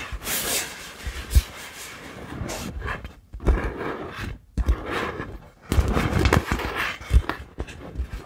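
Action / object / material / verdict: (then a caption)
tap / inflatable vinyl beach ball / vinyl / none. A large, multicoloured inflatable vinyl (PVC) beach ball, hollow and air-filled, is held in both hands in front of a microphone and tapped and scratched with long acrylic nails. Bright, rustling scratches run through the clip, broken by short pauses. Sharp taps land as dull, low-pitched thumps on the air-filled ball.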